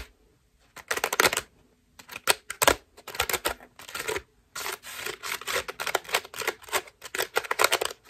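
A white foam bath loofah with soft ruffled strips is scratched quickly with long nails. It makes bursts of dry, crackly, bright scratching separated by brief pauses. Toward the end the strokes run together into a denser, continuous rustle.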